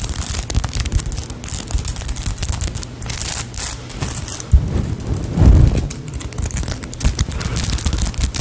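A small, solid polyurethane foam cake-slice squishy toy is squeezed and scratched with long nails right beside the microphone. Dense, crackly scratching with a bright edge rides over deep, muffled thumps and rumbles. Two louder low pushes stand out near the middle.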